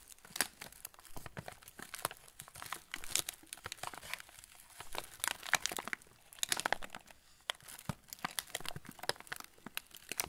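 A full, yellow plastic-film TUC cracker packet is held in both hands while the fingertips squeeze the wrapper. It makes a steady stream of dry, bright crinkles and sharp crackles with no ring. Louder crunchy bursts rise above the quieter rustling throughout.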